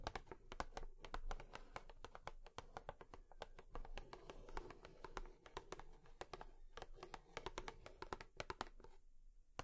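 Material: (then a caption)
Cardboard. Long nails tap rapidly on a cardboard tissue box, making a dense run of short, dry clicks that stop almost instantly. Each tap has a bright tick over a soft, hollow low thump, with a faint scratchy texture between the taps. The tapping continues steadily and thins out in the final second.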